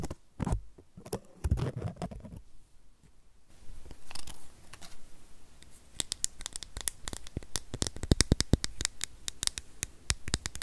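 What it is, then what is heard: Plastic power adapter, solid. A small, solid white plastic USB power adapter with metal prongs is held close and rapidly tapped and scratched with long nails. The clip moves from soft scratching and rustling into quick, bright clicking taps that ring briefly over a low, quiet background.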